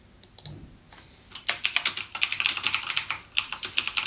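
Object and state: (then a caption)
Mechanical keyboard typing. Fingertips type rapidly on the clicky Cherry MX Blue switch keys of a backlit plastic mechanical gaming keyboard. A few scattered, quieter keystrokes give way to a steady run of sharp, bright clicks. Each click dies away almost instantly, with almost no low end.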